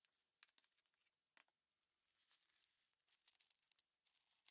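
A pile of small hollow aluminum cover-button blanks, shells and backs, rests on a plastic cutting mat and is stirred and shuffled by gloved fingertips so the pieces clink together. Quiet, bright, dry ticks with no low end and almost no ring come first as scattered single clicks, then a soft rustling swell. Denser bursts of jangling clinks finish the clip.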